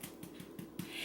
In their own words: if you hear it sounding hollow when you tap on the bottom then your bread is done